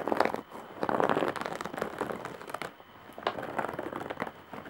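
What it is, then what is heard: Woven straw bag scratched. Long nails scratch and tap along the top edge of a large coarse-woven straw/jute bag. This produces dry, crinkly scratching and crackling with quick, clicky taps and midrange rustle. Louder bursts of scratching are broken by brief quieter moments.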